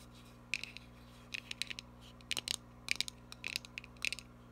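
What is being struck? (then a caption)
Small cardboard box. Long nails scratch and tap a small, hollow printed cardboard gift box with a text front and chevron sides. Sharp, bright clicks and scratchy bursts come in small clusters, with tones around 2.4 kHz. A faint steady low hum runs underneath.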